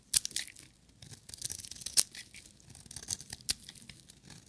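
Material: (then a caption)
Soap. A metal utility knife blade shaves a solid, hand-sized yellow bar of dry soap, lifting off curled shavings. Irregular dry scraping and crisp tearing strokes sound bright and high, with a few sharper cuts standing out above a quiet, close background.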